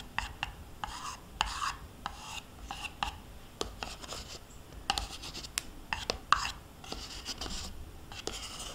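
A metal spoon scrapes the inside walls of a small, thin-walled plastic yogurt cup held in one hand, nearly empty with yogurt residue left in it. The clip is a quick series of bright, rasping scrapes broken by sharp little clicks and taps as the spoon catches on the plastic, with short quiet pauses between strokes.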